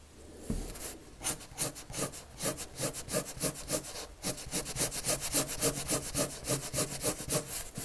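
A red colored pencil draws quick, rhythmic strokes across a large white paper sheet on a flat table, its tip rubbing and scratching the surface. The soft, bright scratches repeat in a steady back-and-forth pattern after a brief quiet start.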